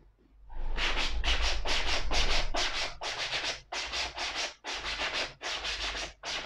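A black suede leather ankle boot is held up and brushed along the upper with a small wooden-handled brush. Steady, rhythmic strokes make a dry, bright, hissing scrub, blending together at first and then separating into distinct swipes with short pauses between them.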